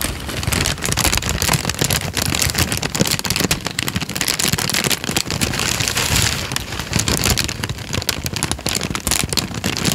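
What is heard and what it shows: A crumpled sheet of thin peach paper is squeezed and crinkled with the fingers of both hands. It makes a dense, continuous crackling full of bright, sharp snaps over a low rustle. The level stays steady for the whole clip.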